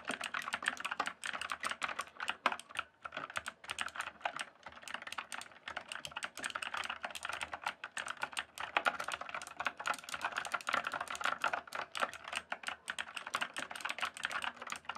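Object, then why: Plastic mechanical keyboard. Fingertips type and tap on the keys of a full-size RGB backlit plastic mechanical keyboard with a hollow case. The result is a steady, fast stream of sharp, clacky keystrokes with a mid-range hollow tone and bright clicks, each dying away almost instantly.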